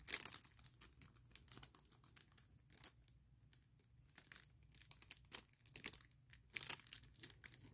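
Fingers and long nails rub, scratch and crinkle a large clear printed plastic bag holding a MacBook Pro laptop case. The result is quiet, bright crackling in quick bursts, with louder crinkles near the start, middle and end over a low steady background.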